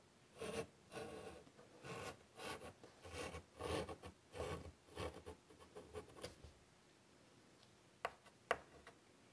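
A hand draws with chalk on a large, flat black chalkboard in a light wood frame lying on a table, making a series of short, dry scratching strokes across the board surface. After the strokes stop, two sharp, bright taps ring out near the end.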